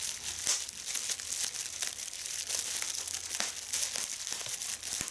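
Clear polyethylene bubble wrap is held gathered in both hands while fingers pinch and squeeze individual bubbles. Sharp pops break through a steady, bright crinkling of the plastic for about five seconds.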